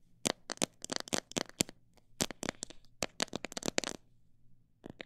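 Long nails tap and scratch the sides and near the top of a clear plastic jar full of mixed bird seed. The sharp, bright clicks come in quick irregular bursts with no ring, over a faint low hum. They pause briefly before a last couple of soft taps.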